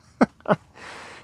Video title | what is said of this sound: My 2023 Nucamp T@b 320s boondock overview and update. | I am glad that I can actually knock on real wood here.